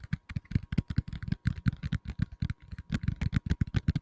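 Fingertips tap the back and edges of a black tablet in a plastic case held in both hands, giving a quick run of about 23 soft, dull knocks. Each tap is a short, low thump with almost no ring, over a faint steady tone.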